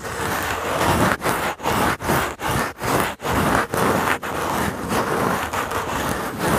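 A small, solid, dry brown pine cone with woody scales is held in the fingertips and rubbed and scraped against a foam microphone cover. Repeated close, dry, scratchy rustling strokes, separated by brief dips, sound fullest in the midrange and carry a bright, hissing edge. The muffled contact of the foam is part of the sound.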